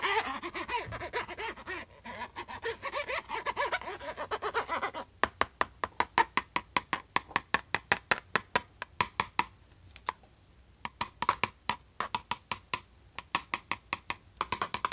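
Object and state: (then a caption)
Laptop lid tapped and scratched with a pen cap. The capped end of a plastic ballpoint pen scratches across the closed lid of a silver HP laptop for about five seconds, making a rough, continuous scraping. It then switches to quick, sharp taps on the lid: dozens of short, dry, bright clicks that come in steady runs with a brief pause near the end.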